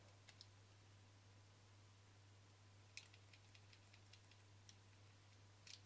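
Fingertips and short nails tap and scratch the front face of a small, flat, thin black plastic Canon lens cap, making about 13 faint, bright clicks with a dry, quick decay. The clicks are scattered across the clip, with a brisk run in the middle. A steady low hum sits underneath throughout.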